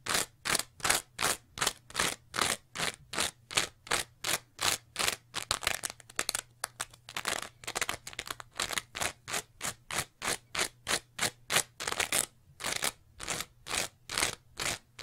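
Long nails scratch rapidly across a green textured scrub sponge with a pale foam layer, making crunchy, bright, rasping strokes in a steady but slightly uneven rhythm. Each stroke is short and dry with almost no ring, and a faint low hum sits underneath throughout.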